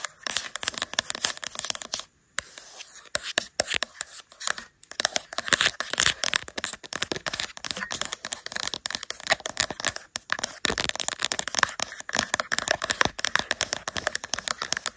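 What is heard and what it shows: Long acrylic nails rapidly tap the smooth matte glass back of a caseless green iPhone with a metal camera bump, mounted on a tripod. The taps are a dense stream of sharp, bright clicks with almost no low end and no ring, broken by two brief silences near 2 and 5 seconds.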